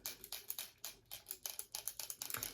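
A 200 ml plastic pump bottle of lotion is shaken, and a small bead inside rattles against the walls. The rattle comes as a quick run of bright, dry, high-pitched clicks that stop almost instantly, with no low-end weight.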